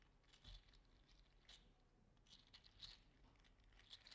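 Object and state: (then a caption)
3D printed plastic articulated slug toy. A small orange-red 3D printed plastic "mini fire slug" toy with hollow articulated segments is curled and squeezed in the fingers. Its segments make quiet, bright clicks and crinkly crunches over a low rumble, with louder clicks at about 0.5, 1.5, 2.8 and 3.9 seconds.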